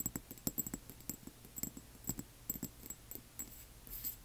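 Long nails on both hands tap the sides of a small amber glass serum bottle with a white dropper cap and a label, which appears filled and stands on black cloth. About sixteen quick, uneven taps come through as quiet, dry clicks with bright glassy ticks on top and a soft low body. Each tap dies away almost at once, with no lingering ring.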